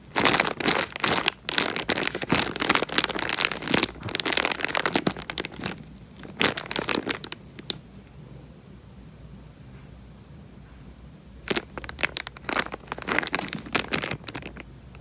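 A small clear plastic bag full of water is pinched and squeezed by fingertips right at the microphone, giving close, bright crinkling and crackling plastic with soft water movement. Dense, irregular bursts of crinkling fill the first half, fall to near silence for about three seconds, then return in short clusters near the end.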